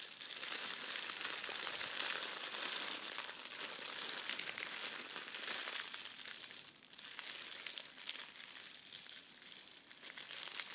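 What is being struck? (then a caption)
Metallic foil wrapping paper. A folded sheet of red metallic foil gift wrap with a gold edge underneath is pressed, scrunched and smoothed flat with fingertips on a table. It makes a dense, continuous, bright crackling crinkle with almost no low end. The sound eases briefly around the seven- and ten-second marks before picking up again.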